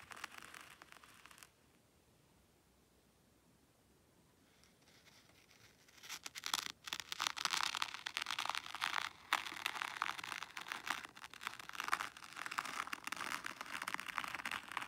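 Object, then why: Fine sand in a shallow tray raked with a small wooden rake. A small wooden rake held in the fingers combs lines through fine white sand in a shallow black hexagonal zen garden tray. A brief soft scratch gives way to near silence, then a steady, bright, gritty scraping runs continuously as the rake drags through the sand.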